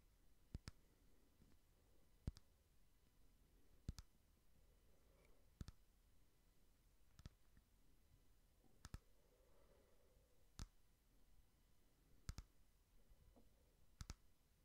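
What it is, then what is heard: Frosted glass candle holder. A small frosted glass votive candle holder printed with cake pictures is tapped slowly with fingernails along its side. Sharp, bright clicks come about every one and a half to two seconds, some closely doubled, each dying away almost instantly over a quiet, steady background hiss.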